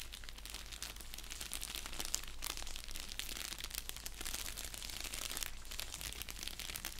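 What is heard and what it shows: An orange padded bubble mailer with a label, lying on a blanket, is scratched and tapped with fingertips and nails. The result is a steady stream of bright, crisp crinkling and scratching over a low hum. There are no clear pauses.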